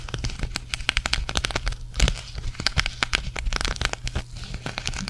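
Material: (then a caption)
Sequins. Long nails scratch and tap the sequins of a green sequin cactus patch held in front of a microphone. The result is a rapid run of sharp, dry crackling clicks with bright rustling, over a steady low hum.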